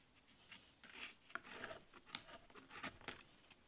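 A small steel chisel cuts and scrapes a solid light wood panel carved with a leaf relief while fingers hold the panel. Six short, bright scraping cuts stand out over a soft rasping hiss, each dying away almost at once.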